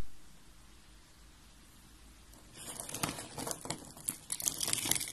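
Fingers with red nails crush white and blue curved pieces of dry soap. After about two and a half seconds of near silence with a faint low hum, a dense run of crisp crunching and crackling begins and builds, bright and high, to the end.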